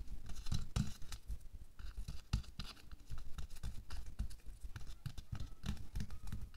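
Bare fingertips and nails quickly scratch and tap over a thin pink latex/nitrile glove worn on a hand lying flat on a white table. A dense run of soft, dull taps mixes with brief bright, rustling scratches, each sound dying away almost at once. Most of the energy sits in a low thump, with only faint high crackle above it.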